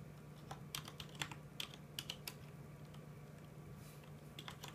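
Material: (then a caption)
Plastic. Both hands slowly tap the plastic keycaps of a full-size mechanical keyboard resting on a desk, producing about 16 short, bright clicks with a quick, dry decay. A steady low hum sits underneath the quiet, unhurried typing.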